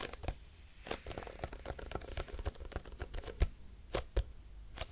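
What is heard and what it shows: A grey squeezable plastic cosmetic tube with a crimped end, likely filled, is tapped with long nails in quick, irregular clicks. The taps are short and dry with a low thud and brief bright ticks, and a few land noticeably harder than the rest.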